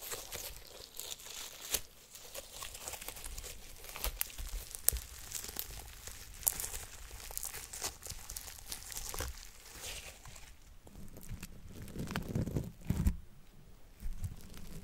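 A handful of fluffy white cloud slime, soft and solid, is squeezed and squished in one fist with long orange nails. It gives a steady run of bright, crinkly, tearing crackles with scattered sharp pops. Near the end, louder, fuller squelches come through.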